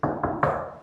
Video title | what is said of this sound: High Security Steel Doors - PETRA Doors India Distributor Tour | మనం టాప్ చేస్తే you won't feel that steel sound రాదు. సర్ వుడ్ సౌండ్ే వస్తది